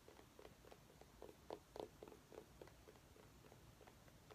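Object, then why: Small pumpkin. A small orange mini pumpkin held in the hands is tapped with long nails in quick, uneven succession. Each tap is a short, soft, hollow knock around 430 Hz with a faint bright click on top, dying away almost instantly over a quiet background, with a few slightly louder taps in the middle.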